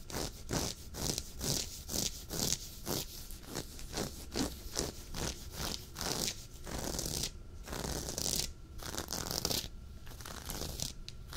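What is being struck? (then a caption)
Knit fabric sweater. Fingertips and short nails of both hands scratch a soft, dark waffle-knit sweater worn on the chest. Quick rasping strokes come in a steady run of bright, scratchy bursts over a soft low rumble. The tempo loosens into longer rubbing passes toward the end.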